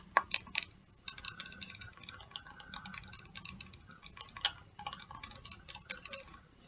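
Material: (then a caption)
Plastic. Long nails tap and scratch a medium plastic hair spray bottle with a black pump top, partly filled with pink liquid. Three sharp, bright taps open the clip, followed by a rapid run of light clicks and scratchy ticks with almost no ring.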